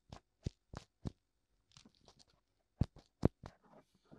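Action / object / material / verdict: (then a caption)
tap / silicone ear of a binaural microphone / silicone / none. Fingertips tap and scratch both white silicone ears of a black binaural microphone. Quiet, soft, dull thumps with almost no ring are heard, mixed with light scratchy rustles, in an uneven rhythm. Several taps land noticeably harder than the rest.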